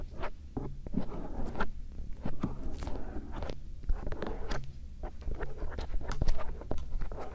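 A thin bamboo earpick, held by fingertips with painted nails, scratches and strokes the inner folds of silicone ear shells on a binaural microphone. Close, dry scraping and rustling strokes come in quick bursts over a soft low rumble, with brief bright scratches rising out of the texture.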